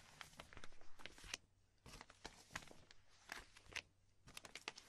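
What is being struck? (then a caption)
Thin clear plastic binder sleeves. Fingertips and long nails rub, lift and crinkle the top sleeves of a stack of thin, empty, clear polypropylene binder sleeves resting on a dark cloth, with a magazine lying untouched beside it. Quick, sharp, bright crackles and rustles come in irregular bursts over a faint low hum. Between the bursts are brief quieter stretches.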